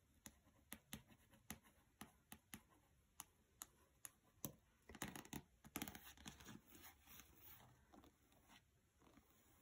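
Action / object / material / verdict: tap / paperback book with glossy card cover / paper / none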